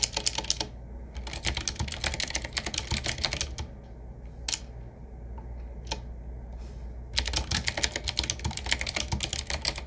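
Fingertips of both hands type on a medium-size 7Keys typewriter-style mechanical keyboard with round black keycaps in metal rings, set in a wood-finish frame with a hollow case. Rapid bursts of bright, sharp clacking keystrokes are heard over a steady low hum. The typing pauses in the middle to a few isolated clicks, then resumes in another fast burst.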